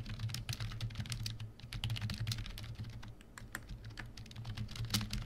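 Continuous two-handed fingertip typing on a full-size black plastic membrane keyboard, a COSY KB1388, resting on a desk. The keystrokes are soft, rapid, bright clicks over a steady low hum.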